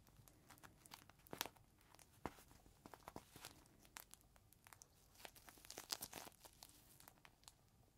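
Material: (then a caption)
Plastic. Fingertips squeeze and rub a clear plastic zip bag, held between both palms, with a rolled green microfiber cloth inside. Quiet, bright crinkling comes in many quick, dry crackles and rustles with almost no low end, in uneven bursts throughout.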